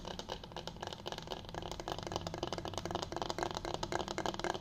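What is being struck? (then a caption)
Bamboo cutting board. Fingers tap and scratch the surface of a flat, solid bamboo cutting board held upright in both hands. The result is a dense, uneven run of quick, dry ticks and scrapes with a woody midrange tone around 730 Hz. The sounds die away almost instantly and grow slightly louder toward the end.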